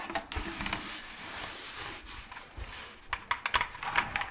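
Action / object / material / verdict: tap / plastic pumpkin candy bucket / plastic / none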